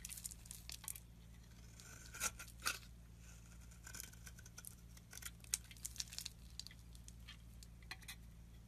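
A metal blade scrapes shavings off a solid oval green bar of soap held in the hand, making quiet, bright, crisp scraping and crackling strokes, with a few sharper louder ones. A steady low hum runs underneath throughout.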